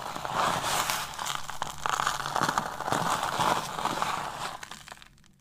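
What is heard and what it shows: A pile of crumbled semi-dry yellow and pink soap on a grey tray is squeezed, crushed and pressed flat by bare hands with short dark-painted nails, and the crumbs are rubbed under the palm. A dense, bright crinkling and crunching goes on throughout, with short crackly bursts. It fades out near the end.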